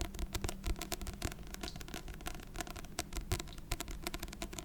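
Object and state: Book tapping.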